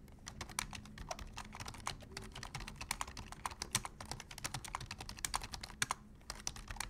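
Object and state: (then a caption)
Plastic computer keyboard. Both hands type rapidly with their fingertips on a black plastic full-size computer keyboard, seen close up. A dense, steady stream of short, bright, clicky key taps with no ring continues for the whole clip over a faint low background hum.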